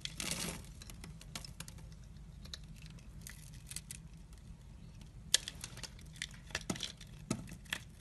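A utility knife blade scores and scrapes small crystal-like cubes off a solid, translucent purple glycerin soap bar held in hand. A burst of bright, crackly scraping opens the clip, followed by a quiet low hum. Scattered crisp ticks and short scrapes then follow, with sharper clicks toward the end.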